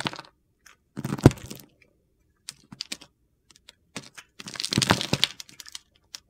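A solid green Palmolive soap bar held in the hand is scraped and scored with a metal utility knife blade. It produces bursts of dry, gritty crunching and crackling scrapes with short, sharp clicks, separated by quiet pauses. A louder, brighter scraping run comes near the end.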